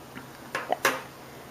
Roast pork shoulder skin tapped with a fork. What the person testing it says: tap it and it sounds hard that's exactly what you want